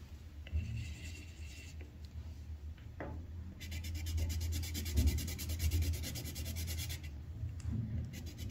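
The tip of a yellow wooden colored pencil rubs across a thin white paper sheet on a clipboard, coloring in a flower petal. Soft, dry scratching strokes build into a faster, brighter stretch of rapid back-and-forth scribbling over a steady low hum, then ease into lighter strokes at the end.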